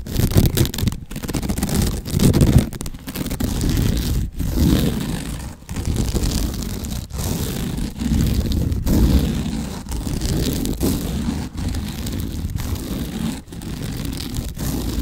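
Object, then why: Sisal rope wrapped cylinder. Fingertips and nails scratch and rub the coarse surface of a sisal rope wrapped cylinder, held horizontally and then tilted diagonally. The result is a steady, dense scraping rustle, mostly low and muffled, broken by brief quiet gaps between strokes.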